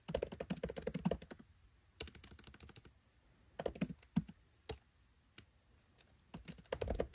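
Fingertips type on a MacBook Pro 13 laptop keyboard with black plastic keycaps set in an aluminium body. Quick bursts of soft, short key taps and clicks come in clusters, with brief quiet pauses between them.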